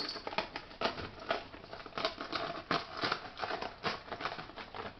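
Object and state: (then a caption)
Dry, crispy dehydrated peppers. Dehydrated bell peppers are peeled and flexed off a dehydrator tray screen, giving a steady run of dry, crisp crackles and snaps. The crackling shows they are properly dried, crispy enough for storage.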